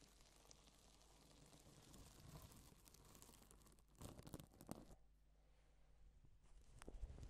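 A gloved hand sweeps across a flat, reversible pink and silver plastic sequin fabric sheet, flipping the sequins over. It makes a soft, steady crinkly rustle over a low rumble, with denser bursts of clicking and scratching partway through and again near the end.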